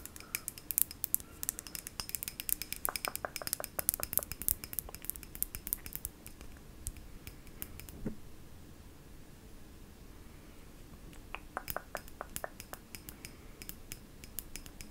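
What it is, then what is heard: Glass jar tapped with fingernails. A medium-sized cylindrical pink glass jar, likely a candle holder, is held in one hand and tapped with short painted fingernails. Rapid, bright, dry clicks with almost no ring come thick through the first half, fade to a quiet stretch, then resume in scattered taps.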